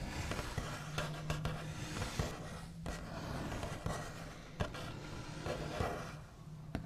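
The backs of the nails of one hand scratch and trace across a large, flat, solid wooden tabletop with a smooth white finish. The result is a steady, low-heavy scratchy rustle with a low hum underneath, broken by several brief, sharp tap-like peaks that die away almost at once.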